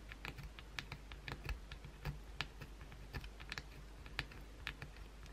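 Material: Soap.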